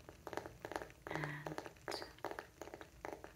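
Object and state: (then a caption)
Wooden coaster. Fingertips and nails tap the top surface of a round, solid, light-wood coaster held flat in one hand. They make quick clusters of short, dry knocks with a woody mid-range tone that die away almost at once. Partway through, a brief low hum rises under the taps, and a faint bright whistle follows.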